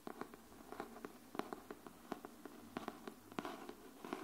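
Long nails on both hands tap the cover of a pink cardboard hardcover paper notebook held upright. Twenty-one short, dry taps fall at an uneven pace, each a quiet hollow knock with a bright click at the edge. The knocks stop almost instantly, with no ring.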